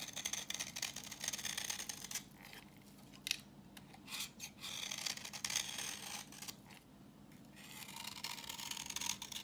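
A solid translucent reddish-brown bar of dry vintage soap, held in hand, is scraped with a utility knife blade, shaving off orange curls. Bright, crisp scratching comes in dense bursts, pausing briefly around the middle before resuming.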